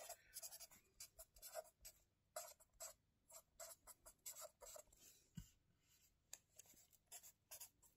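A marker tip scratches across the lined paper pages of a spiral notebook resting on a table as someone writes. Quick, dry strokes come in rapid bursts of bright, high scratching with short gaps between them, and a low thump is heard midway.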